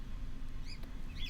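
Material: Nothing is struck.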